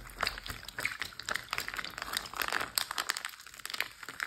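Fingertips with short blue nails tap rapidly on a large, clear plastic Ziploc bag full of water lying flat. The result is a quick, uneven string of crisp, bright clicks and soft crinkles with almost no low end, each tap dying away at once.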